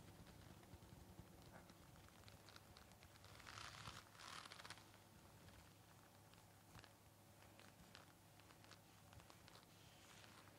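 A white folded KN95 respirator of stiff nonwoven fabric, worn on the face, is tapped and scratched with fingertips and nails. Soft irregular taps and dry crinkly scratching run throughout, with a steady low hum beneath. A louder burst of bright, rough scratching comes around the fourth second.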